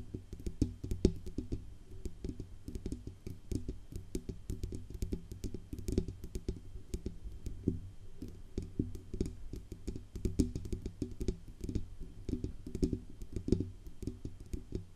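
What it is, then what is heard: Metal USB microphone tapped with fingernails. Long nails tap fast on the band under the grille and on the upper body of a silver Blue Yeti USB microphone with a hollow metal body. The result is a dense run of short, dry clicks over a deep, resonant low hum, with very little ring after each tap.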